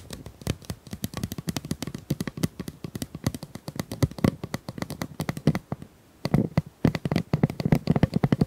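Long nails tap and scratch quickly across the ribbed surface of a hollow pink corrugated plastic pop tube, about 25 cm long, held in both hands. A dense run of dry, hollow clicks and taps with a low, boomy body and almost no ring. There is a brief pause near the six-second mark before the tapping picks up again, louder.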